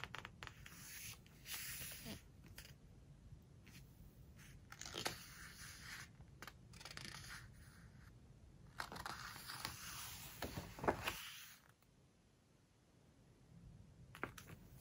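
Long nails and fingertips turn the glossy paper pages of a large hardcover home decoration book lying open on a floral cloth, then rub and squeeze them flat. Bright, papery swishes and crinkly rustles rise and fade in bursts, with soft scratching and rubbing between page turns and a quieter pause near the end.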